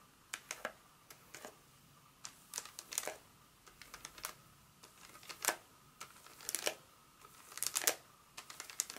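A solid Hershey's milk chocolate bar in its paper wrapper, held in the palm, is tapped and scratched with long acrylic nails. The result is a quiet, irregular series of crisp, bright clicks and short papery scratching bursts that stop dead with no ring.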